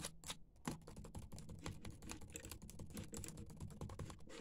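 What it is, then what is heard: Plastic laptop keyboard. Fingertips and nails of both hands type rapidly on the black plastic keys of a dimly lit laptop keyboard. A quiet, steady stream of short clicks and taps, each with a soft low thud and a brief bright edge that dies away almost at once.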